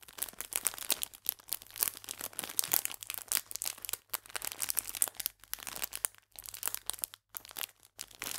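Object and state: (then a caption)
Plastic biscuit bag. A full clear plastic biscuit pack is gripped upright while fingers and nails squeeze and crinkle the film. Dense, bright, crackly crinkling comes in rapid, uneven bursts with a few brief near-silent pauses.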